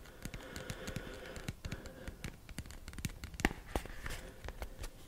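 A small, hollow, rigid white cardboard box is tapped and scratched with short fingernails on its face and edges. The result is a quick run of dry, hollow, low-pitched taps mixed with soft scratching, each tap dying away almost instantly.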